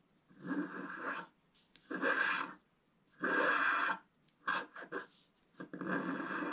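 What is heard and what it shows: A wooden stylus scratches fill strokes across a flat black-coated scratch-art card. Several long, raspy scratching passes give way to quicker, shorter strokes, with a dry bright texture strongest in the mids and quiet gaps in between.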